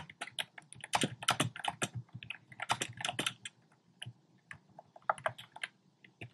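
Fingertips type rapidly on a compact black plastic typewriter-style keyboard with round plastic keycaps. Sharp, bright clicky taps come in quick bursts with almost no ring, and there is a brief lull partway through before the typing picks up again.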